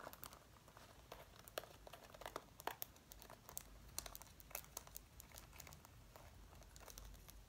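Fingertips with red-painted nails scratch and rub the front panels near the zipper of a worn dark brown faux leather zip-up jacket. The result is a quiet, steady crinkling texture broken by many sharp, bright clicks and scratches.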